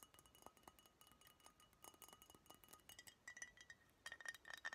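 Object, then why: Glass beer bottle. A Budweiser brown glass beer bottle with a paper label, likely empty, is held in both hands and tapped and clinked with long nails. A quick, quiet run of light glassy clicks and brief high clinks rings around 1.8 kHz, with each hit dying away almost at once.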